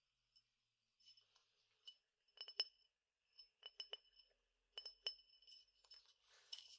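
A clear glass tumbler partly filled with peppercorns is tilted and shaken so the peppercorns rattle, and its side is tapped with fingernails. Bright, short glassy clinks and ticks come in irregular bursts, with a softer, hissy rattle of the peppercorns near the end.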